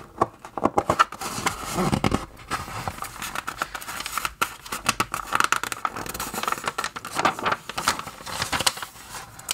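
Fingertips turn the pages of an open glossy paper magazine on a table, flipping back and forth. Crisp rustling swishes and papery crinkles come in quick repeated bursts with short quiet gaps. The sound is bright and dry with little low end.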